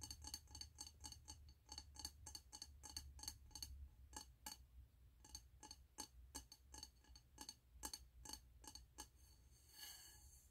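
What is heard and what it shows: Fingernails tap the sides of a medium frosted glass candle jar with a snowman print and a gold lid, filled with solid wax and held in both hands. The result is a quick, uneven series of short, dry, bright clicks with a faint glassy tone around 860 Hz that dies away almost instantly, over a steady low hum. The clip ends with a soft, bright rustle.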